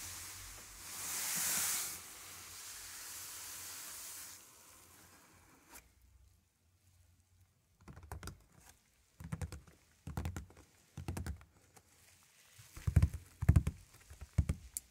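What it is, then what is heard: Cardboard shipping box. Fingertips and palms of both hands tap and pat the top of a large, closed, taped corrugated cardboard shipping box resting on a table, hollow with its contents (a vinyl turntable) inside. A broad hiss swells and fades over the first few seconds, then a quiet gap gives way to short clusters of dull, low, hollow thumps with bright papery ticks. The clusters grow louder toward the end.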